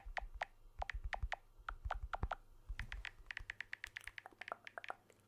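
Fingertips tap the edge and back of a blue smartphone with a glass back and aluminium frame, held in one hand. About 25 short, dry taps sound, each a quick click with a faint tonal ping and a soft low thump beneath. The taps come in small clusters and grow quicker and lighter toward the end.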